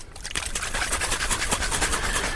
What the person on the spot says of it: You can hear the liquid inside until it's all mixed up.